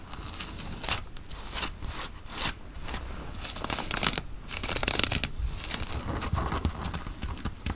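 Fingernails scratch the fabric of a worn grey and black tie-dye cotton t-shirt near its printed logo and collar. Bright, hissy, papery scrapes come in separate strokes at first, then settle into denser, steadier scratching with little low end.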